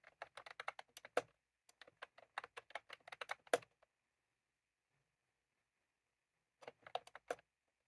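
Fingertips of both hands type continuously on a full-size plastic computer keyboard with round cream typewriter-style keycaps, resting on a desk. About 27 quick, dry clicks come in two bursts, followed by a silence of almost three seconds and then a short final flurry. Each click is crisp, with a mid-pitched body around 490 Hz and a bright top, and fades almost instantly.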